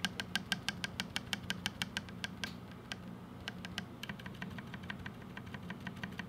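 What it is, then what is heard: Mechanical keyboard with plastic keycaps being typed on. Fingertips type and tap on a 60% mechanical keyboard with a black case, white, lilac and blue plastic GMK Firefly keycaps, linear switches and stabilizers, lying on a white desk, pressing keys including the spacebar and modifier keys. Quick, sharp, bright clacks come in a steady run that briefly pauses and then resumes more softly and densely. A low steady hum sits underneath.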